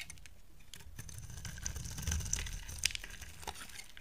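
A solid oval green soap bar, held in the hand, is scraped and carved with a utility knife blade. The result is a quiet, steady dry scraping with crisp, bright ticks and crackles over a soft low rumble, with a slightly louder cut near the middle.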